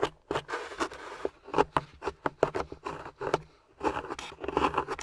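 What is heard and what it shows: A metal pick held by long-nailed fingers scrapes and chips at a grey solid plaster fossil dig block with a yellow fossil embedded in it. Many short, crisp scratches and clicks sound in quick irregular bursts, with gritty scraping between them and brief pauses. The strokes are dry and bright-edged with almost no ring.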